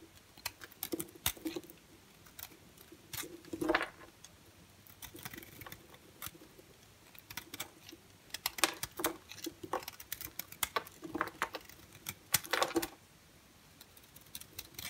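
An orange and white striped solid bar soap is shaved in strokes with a utility knife blade. Dry, crisp scraping and crackling come in short bursts with bright, papery edges, and a few louder scrapes stand out. Quiet pauses separate the strokes.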